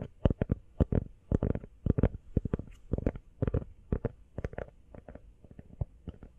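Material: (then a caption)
Rubber. Fingernails tap quickly on the back and sides of an empty teal rubber iPhone case. About 25 short, dull taps come in quick, uneven bursts; each is a soft, low thud that dies away almost at once.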